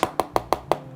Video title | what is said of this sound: 4 Jutaan udah Ryzen 5 3500U, Gimana performanya? - Review AXIOO HYPE 5 X3 - Lazy Tech | ini kan bagian yang paling sering dibikin kosong ya masih padat masih enak gitu ditekan-tekan juga masih padat